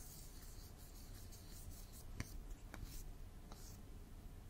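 A long, thin, hollow pink plastic drinking straw, which appears bent or doubled, is held upright beside the microphone and rubbed or scratched with the fingertips. The result is a quiet, steady rasping rub with a bright, airy texture over a low rumble, broken by a few short, sharp ticks in the middle of the clip.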